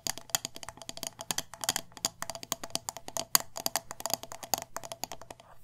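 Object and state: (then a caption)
Glass candle jar, nail tapping. A hand-sized, wax-filled glass jar candle with a metal lid is tapped quickly on its glass sides with long nails. The result is a rapid, uneven stream of sharp, bright clicks with a high, glassy tick and almost no ring after each tap.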